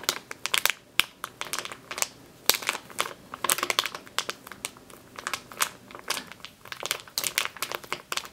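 Long green-painted nails and fingertips squeeze and scratch a medium clear plastic bag with a yellow-printed label, full of flour or grain, lying on a dark table, and the bag is lifted at the end. Bright, dry crinkling and crackling come in quick, irregular bursts with sharp snaps and almost no low end or ring.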